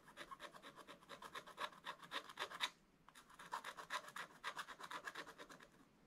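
A wooden stick scratches long strokes across the coated dragon area of a wax-coated scratch-art paper page in a flat scratch-art book. Quick, dry, bright scratching strokes repeat in an uneven rhythm, pause briefly near the middle, then resume.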